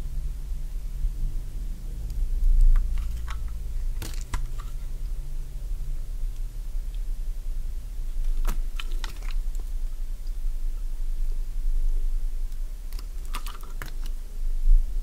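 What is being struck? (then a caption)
Solid bar of soap cut with a metal blade. A metal blade slices crisp strips from a solid light-green bar of Fa soap held in the hand. Sharp, crunchy clicks come in scattered bursts over a steady low hum.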